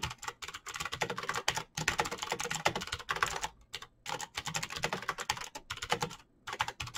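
Both hands type rapidly with their fingertips on a black plastic mechanical keyboard with clicky green switches and backlit keycaps. The result is a dense, bright clatter of sharp, short clicks, broken by a few brief pauses.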